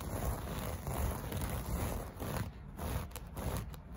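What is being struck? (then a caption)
Loop-pile textile carpet. Fingertips and short nails scratch and rub across the loops of a flat, solid beige loop-pile carpet piece with a soft textile surface. The result is a steady, dull, low-heavy scratching rustle that swells and dips in uneven waves, with little bright content.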